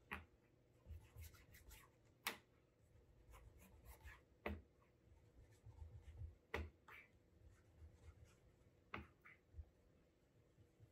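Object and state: Leather dress shoe.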